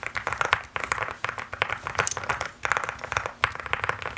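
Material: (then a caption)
Plastic. A mechanical keyboard with pastel plastic keycaps is typed on quickly with both hands, using fingertips and nails. The result is a fast, dense stream of sharp, bright clicks and clacks with very short decay, broken by a few brief pauses.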